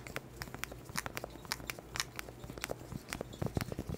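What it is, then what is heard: Cork board tapped with nails. A small round cork board held in front of the mic is tapped with black plastic claw nails in a quick, uneven run of about eighteen short knocks. Each tap is a dry, clip-clop-like knock with a low thud and a bright click on top, dying away instantly with no ring.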